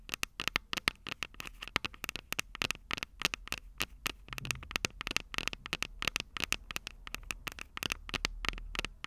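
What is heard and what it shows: Long purple nails tap rapidly on the small, hollow, silver metal microphone capsules of a Tascam DR-05 recorder. Dozens of crisp, bright clicks with a tinny ring around 2 kHz die away almost instantly, over a faint low hum.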